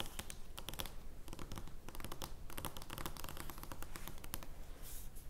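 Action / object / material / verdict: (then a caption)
scrape / oversized thin cardboard playing card / cardboard / none. Long nails scratch across the surface of an oversized, thin cardboard joker playing card lying flat. The result is a dense, uneven run of dry scratches and crisp, bright ticks over a steady low rumble, with each sound clipped short.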